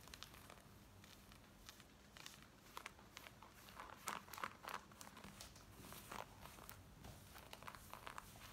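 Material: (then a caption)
Denim. Long nails scratch worn black denim jeans across the side, back pocket and front, making a quiet, dense run of quick, irregular rasping strokes. The strokes are brushy and bright, with a few louder scrapes standing out near the middle.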